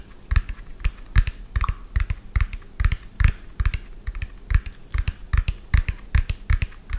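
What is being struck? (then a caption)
Plastic toy dump truck. A medium lime-green hollow plastic toy dump truck with an empty tipper bed is tapped quickly with fingernails. The taps come as a fast, uneven run of short, dry clicks, each with a hollow low thump and a bright snap, dying away almost instantly.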